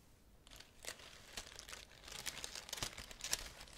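Fingertips with long nails rub and crinkle the fresh-looking green bay laurel leaves of a graduation wreath held close to the mic. Soft, bright crinkling and crackling rustles come in irregular bursts, growing busier and louder toward the end.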